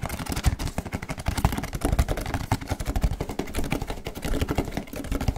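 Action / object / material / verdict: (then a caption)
tap / small cardboard box / cardboard / none. A small, hollow, pink printed cardboard box with a MagiClub logo is held in both hands close to the microphone. Tattooed fingers and fingertips handle it, tap it and flip its lid open. The result is a fast, continuous stream of dull, low, boxy taps and rustles with very little brightness.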